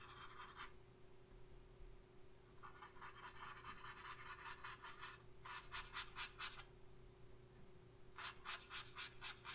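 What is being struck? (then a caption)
Paper face chart on clipboard. A thin makeup brush held in the fingers makes short, quick scratching strokes on the eyebrow area of a flat paper face chart clipped to a clipboard. The soft, bright, papery scratches come in four clustered runs separated by pauses. A faint steady low hum continues underneath.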